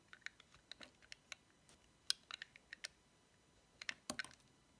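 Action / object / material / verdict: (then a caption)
scrape / bar of soap cut with a knife blade / soap / none. Corners are cut off a small, solid, cream-white cube of dry bar soap with a paw decoration, using a metal utility knife blade while the cube is held in the fingertips. About fourteen short, crisp, bright clicks and snaps come at irregular intervals, each dying away instantly with no ring, over a quiet background.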